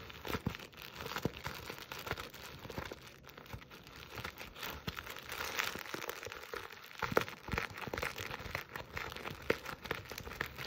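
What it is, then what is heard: Burlap stocking being scratched. Long acrylic nails scratch and rub a soft, hollow jute burlap Christmas stocking with a stitched red-black buffalo check appliqué letter A, held close. The result is a dense, continuous run of rough crinkling scratches and rustles with many small sharp ticks, fairly quiet and steady throughout.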